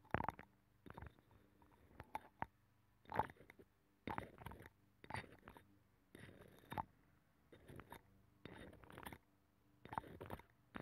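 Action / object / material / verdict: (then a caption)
scrape / abalone shell scratched with a thin metal pick / shell / none. A thin metal pick scratches the inner ridges of a hollow, ear-shaped abalone shell with a nacre interior, taped over a microphone. Quiet, crackly scraping comes in short bursts separated by brief pauses, with a faint low hum underneath.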